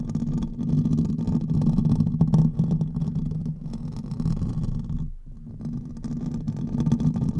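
Fingernails from both hands scratch quickly over the hollow metal mesh head of a silver condenser microphone. The result is a dense, continuous scraping rumble, heavy in the low end with a boomy tone around 156 Hz and only faint brighter crackle above. The sound dips briefly just after five seconds, then the fast scratching resumes.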